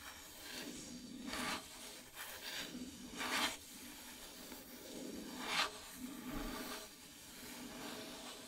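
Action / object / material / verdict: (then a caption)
scrape / painted wooden plaque / wood / none. Long metallic nails scratch slowly across the surface of a flat, solid, dark painted wooden heart-shaped plaque, with a few light taps. Soft, hissy rasps rise and fade in irregular strokes, and a few brighter scrapes stand out over a quiet background.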